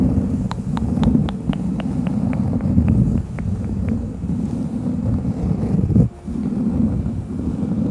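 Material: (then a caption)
Cork. A thin, solid, round cork coaster with a bear print is held in both hands in front of the microphone and scratched with long fingernails and fingertips. A quick run of short, crisp scratchy ticks fills the first half over a steady, low, rumbling wash that briefly drops out near the end.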